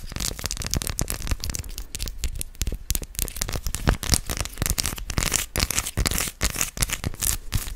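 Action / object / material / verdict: tap / white chocolate bar / chocolate / none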